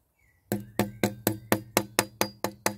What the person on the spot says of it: that sounds absolutely solid there